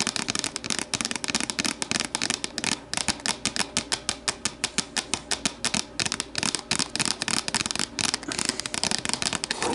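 Long matte nails of both hands tap and scratch the sides of an empty, hollow, translucent plastic deli container on a wooden table, later with the container turned upside down. The result is a rapid, continuous run of bright, crisp clicks with very short ring, layered over a light scratching hiss and a faint hollow tone around the low-mid range.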